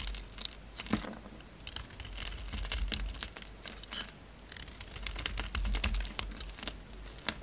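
A utility knife blade shaves and cuts a small, solid, rectangular black glitter soap bar, black with gold dots outside and white inside, into flakes while it is held in the hand. Quick, irregular dry scrapes and crisp crackling snaps come through bright and sharp over a low rumble.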